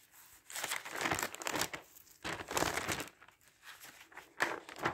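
Fingertips lift, turn and flatten the pages of a large, thin newsprint newspaper lying open on a wooden table, with another stack of newspapers on a sofa behind. The result is a run of soft, papery crinkling bursts that swell and fade as each page moves. Brief quiet gaps fall between the rustles, and the sound is bright and airy with almost no low end.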